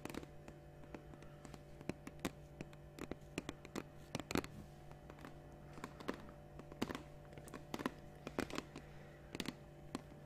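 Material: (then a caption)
Plastic. Long nails tap and scratch a large, clear, capped plastic water bottle held up close to the mic. The result is a quiet, irregular run of short, dry clicks and light scrapes, with each tap dying away almost at once. A steady low hum and faint tones sit underneath throughout.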